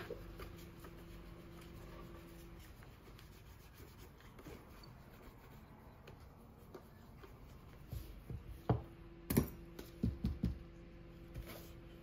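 A brown leather dress shoe, held in a gloved hand and turned sole-up, has its toe rubbed with an orange polishing cloth wrapped over the fingertips. Quiet, steady low-pitched rubbing and brushing continues throughout, joined near the end by several louder, sharper bumps and scuffs.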